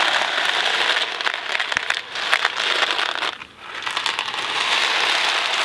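A thin cardboard Kraft macaroni & cheese box filled with dry pasta is held in two hands, tilted and shaken while fingertips handle its surface. The result is a dense, bright rattle and crinkle of pasta shifting inside, with no low end. It runs nearly continuously, with a brief quieter lull just past the midpoint before the shaking picks back up.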